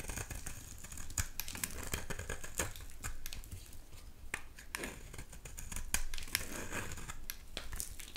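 A solid yellow oval bar of soap is held in the hand and shaved with a utility knife blade, sending fine flakes falling. Dry, crisp scraping and crinkling strokes repeat steadily, punctuated by sharp bright ticks as the blade catches. Beneath them runs a faint low rumble.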